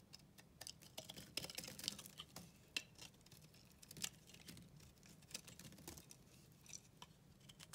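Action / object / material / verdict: scrape / bar of soap / soap / none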